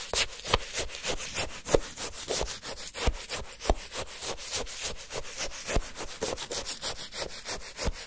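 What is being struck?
Frozen orange sherbet in a paper cup, wooden stick.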